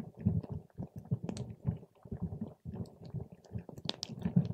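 A paper straw pokes and stirs a clear plastic cup full of purple water gel beads. The result is a string of soft, low, wet squishing and squelching sounds, with a few brief bright clicks.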